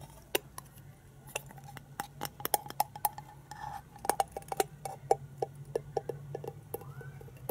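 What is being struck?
Hollow plastic toy egg.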